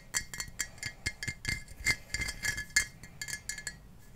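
Long painted fingernails tap the sides and base of a clear Ball glass mason jar, hollow and partly filled with water, held up above foam blocks. A quick, uneven series of bright clinks rings around 2.1 kHz, each dying away almost at once.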